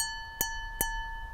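A glass holding a little less water, after some was removed, is tapped twice, each tap giving a bright click over a steady ringing tone near 900 Hz with a clear overtone just below 2 kHz. Removing the water changes the pitch of the tone.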